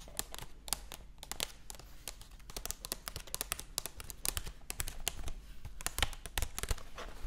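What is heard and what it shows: Long acrylic nails tap and scratch the printed paper pages of an open hardcover cat book. The result is a dense, uneven run of quick, dry, bright clicks mixed with soft papery scratching over a low, steady hum.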